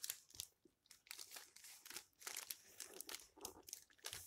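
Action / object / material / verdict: scrape / old paper book pages / paper / none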